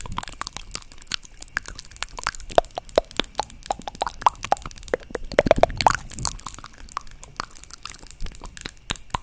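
Long nails tap the lid of a small, hollow white plastic cosmetic jar held close to the mic. The result is a rapid, irregular stream of dry, crisp clicks with almost no ring, some with a faint hollow ping in the midrange. The taps cluster most densely just before the six-second mark.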